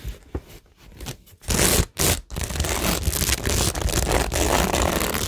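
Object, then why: Cork board studded with plastic rhinestones and pearls. Long nails scratch across rows of plastic gems, rhinestones and pearls glued to a cork tingle board. A few quiet, scattered clicks give way at about 1.5 seconds to loud bursts of broadband scraping. A dense, steady scratching follows, with a bright, crackly texture over a low rumble.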